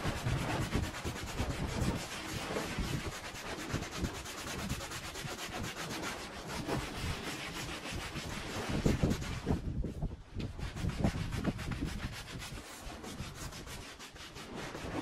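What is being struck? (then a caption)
Woven pile rug scrubbed with a brush. A handheld scrub brush rubs foam back and forth along the surface of a bright patterned woven pile rug with fringe, fiber type uncertain. The sound is a steady, dense, rasping scrub with a low rumbling body, briefly easing off around the ten-second mark before the scrubbing resumes.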